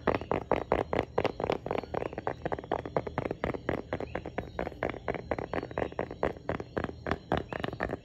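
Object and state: Plastic tablet folio case, fingernail taps.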